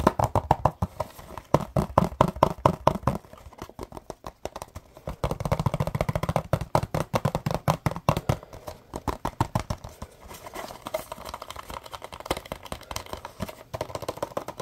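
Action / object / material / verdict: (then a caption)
tap / small printed cardboard box / cardboard / none. A small, hollow, printed cardboard Scrub Daddy box is tapped rapidly with fingertips and nails, producing dense, irregular bursts of dry, hollow knocks. The taps are muffled, with a low thump and a papery midrange tone around 600 Hz. Each tap dies away almost instantly, and there is very little high-end brightness.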